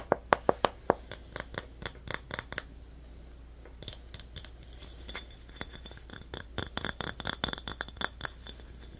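Short nails tap and scratch a small, empty glass Yoo-hoo bottle with a yellow metal cap, striking both the glass body and the cap. Five sharp, bright clinks open the clip, followed after a brief pause by quicker, lighter clicking taps and scratches. Each tap dies away almost at once.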